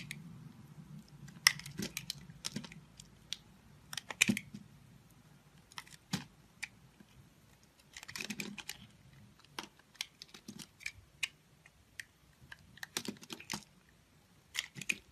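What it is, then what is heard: Bar of soap being cut. A multicolored solid bar of soap, held in a hand with white nails, is cut and scraped with a utility knife, and small soap cubes break off. Crisp, bright clicks and short scraping crackles come in irregular bursts with quiet pauses between them, over a faint low hum. Each snap dies away almost instantly.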